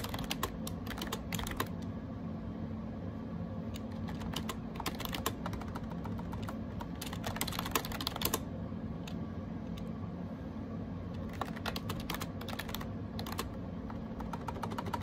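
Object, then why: Plastic computer keyboard with round keycaps. Fingertips type rapidly on a gray AJAZZ 308i wireless Bluetooth keyboard with round plastic keycaps. The result is a steady stream of short, crisp plastic clicks that come in quick bursts over a constant low background rumble.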